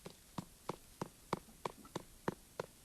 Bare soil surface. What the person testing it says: hollow sound you shouldn't hear